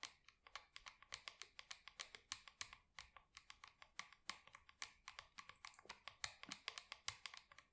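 Long acrylic nails tap rapidly on the side wall of a small matte black plastic plant pot holding an artificial plant. Dozens of quick, sharp, bright clicks come in an uneven stream, each dying away almost instantly with almost no low end. The overall level is quiet.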